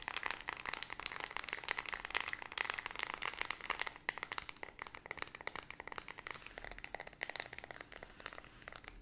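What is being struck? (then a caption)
Plastic remote control with rubber keypad. Long red nails rapidly tap and scratch the rubber keypad buttons of a small handheld white plastic LED remote control. A dense, fast stream of sharp clicks and scratchy crackles fills the clip, bright and thin with almost no low end and a tone centered near 2 kHz, each tap dying out almost instantly.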